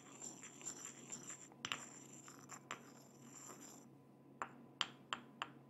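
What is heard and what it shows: A pestle is ground and scraped around inside a small, hollow white ceramic mortar held close to the microphone in a gloved, clawed hand. A soft, gritty scraping with faint bright ringing tones fills the first few seconds, then four sharp, short clinks near 3.2 kHz ring out near the end.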